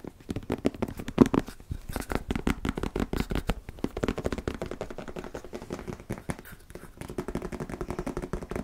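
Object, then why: Plastic squeeze tube of wood filler. A medium white-and-red plastic squeeze tube of wood filler, hollow and apparently filled, is held in both hands and tapped and scratched with fingertips and nails. The result is a rapid, uneven stream of short, dull taps and soft scratches, mostly low-mid in tone with little high end, and a slightly louder tap near the start.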